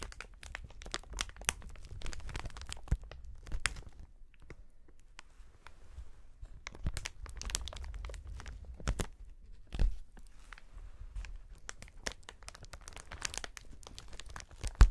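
A sheet of clear, hollow, inflated plastic air cushion packaging is held flat while gloved fingertips press and scratch across it. The result is a steady stream of crinkling and crackling with sharp, bright snaps and brief tearing-like rasps over a low, muffled thump from the pressed air pillows.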